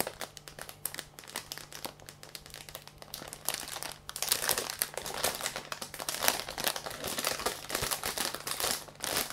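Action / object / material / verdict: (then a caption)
scrape / plush toy in thin plastic film bag / plastic film / none. Fingertips and palms press and rub the thin clear plastic film bag sealing a large soft yellow plush toy on a table. The result is a dense, bright crinkling made of many quick crackles over a faint steady low hum. The crinkling grows louder and fuller after about four seconds.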